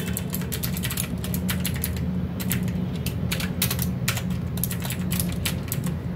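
Fingertips of both hands type steadily on a full-size mechanical keyboard with plastic keycaps and RGB backlight, resting on a desk mat. A continuous stream of bright, crisp key taps and clicks rides over a steady low hum.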